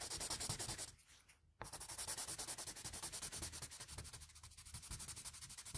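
A plain blue wooden graphite pencil makes fast hatching and shading strokes across the cheek and face of a drawing on a flat sheet of drawing paper. The strokes come as a quick, bright, scratchy rubbing at about three and a half per second, with a brief quieter pause near the one-second mark before the shading resumes steadily to the end.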